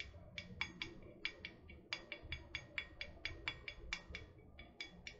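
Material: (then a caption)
Metal. Long painted nails tap a tall, hollow, printed metal water bottle held close to the mic, making quick, irregular taps. About twenty short, bright clicks with a tight metallic ring near 2.3 kHz die away almost instantly over a quiet low rumble.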